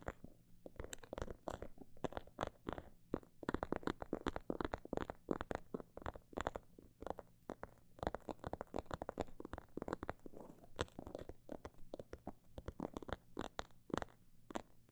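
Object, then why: Small faux leather pouch. Long nails tap and scratch on a small snakeskin-print faux leather pouch, and a zipper may be touched. Dozens of short, dry taps come in rapid bursts and slower runs, with soft scratching between them. A steady low hum runs underneath.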